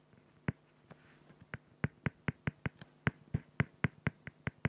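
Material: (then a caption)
Acrylic. A felt-tip pen makes quick, dense hatching strokes across a flat, clear acrylic plexiglass sheet. The sound is a rapid, fairly regular series of short, dry scratching ticks, each sharp and brief with a low body and a bright edge. Faint, softer strokes fall between the louder ones.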